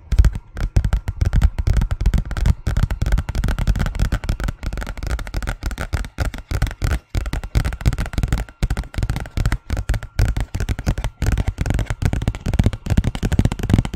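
A thin, large white paper envelope is tapped and scratched with the long fingernails of both hands. The result is a dense, rapid stream of short, dull taps with a heavy low thump, mixed with soft papery scratching and very little high end.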